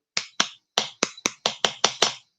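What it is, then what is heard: Hard, dried-out processed cheese slice. An individually wrapped processed cheese slice that has dried out and gone hard is tapped against a phone. Nine sharp, bright clicks sound like a solid object, each decaying almost at once with hardly any low end.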